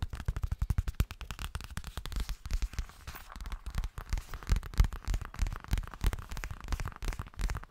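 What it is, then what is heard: Fabric cosmetic pouch. Fingertips and nails rapidly tap and scratch a hollow yellow half-moon zippered toilet bag, probably made of coated fabric. The result is a fast, uneven stream of dull, low thumps that die away almost instantly, mixed with faint crackly scraping.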